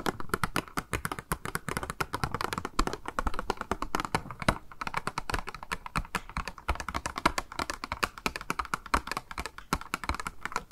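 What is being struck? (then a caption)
Small clear plastic cube box. Long nails rapidly tap a small, hollow, clear pink plastic cube box with a pink makeup sponge inside while it is turned in the hands. The result is a dense, continuous stream of short, dry plastic clicks and taps with a hollow midrange tone and almost no ring.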